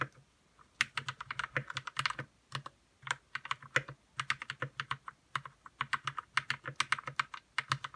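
Fingertips type in bursts on a white RK61 60% mechanical keyboard with plastic keycaps, lubed red switches and a hollow plastic case. About 45 quick, bright clacks, each with a soft low thock underneath, die away almost instantly. Brief pauses fall between the runs of keystrokes.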